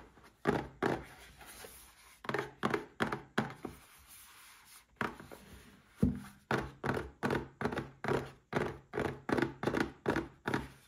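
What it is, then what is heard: Cardboard gift box tapped. Fingertips and short nails tap the front and sides of a small red cardboard gift box holding a Paladone Mario Kart glass. About 24 dull, hollow thunks come in uneven clusters with brief pauses between them. Each tap is short and dies away quickly.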